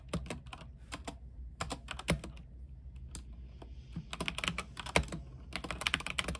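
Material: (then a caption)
Plastic. Fingertips type at a moderate pace on an RGB mechanical keyboard with white plastic keycaps on a silver aluminium frame. Short, dry key clacks with bright tops and a soft low thump come in uneven bursts, each dying away almost instantly. A steady low hum sits underneath.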